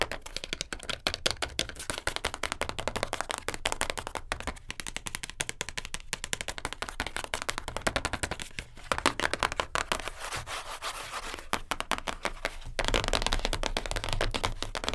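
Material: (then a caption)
Cardboard. Long acrylic nails quickly tap and scratch the surfaces and edges of a closed, flat, light-blue printed cardboard perfume gift box, first held and then laid flat. A dense stream of dry, clicky taps mixes with rustling scratches, each tap dying away almost at once. The final seconds turn louder and fuller.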